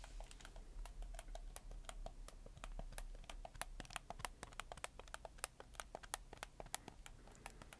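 Fingertips rapidly click the buttons and triggers of a black PS4 game controller with white joysticks and a hollow plastic body. The result is a quick, uneven run of short, dry plastic clicks with bright, crisp tops over a steady low hum.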